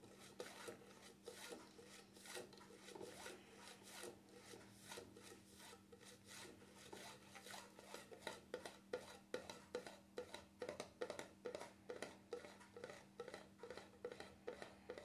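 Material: Plastic.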